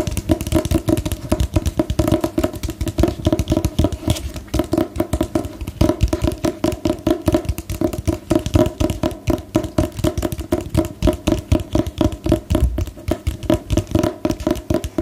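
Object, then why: Hardcover book with cardboard cover. A hardcover paper book with a glossy black-and-white photo cover and cardboard covers is held upright and tapped on the cover with fingernails. It gives a steady stream of quick, dull, low knocks that die away instantly with no ring.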